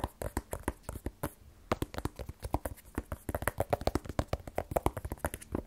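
Fingertips tap rapidly on a small, black, rigid cardboard iPhone 12 Pro box held in the other hand, hollow with the phone inside. About 37 short, dull, hollow knocks sound with a deep low thump and almost no ring, in an uneven rhythm that grows denser and louder in the second half.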